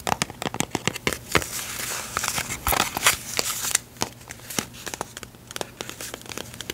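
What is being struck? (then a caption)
Small cardboard box of staples. Long pink nails tap and scratch a small, closed yellow printed cardboard box of staples, likely full. Quick, bright clicks mix with dry, crinkly scraping that swells to a denser rasp in the middle, then breaks back into scattered taps.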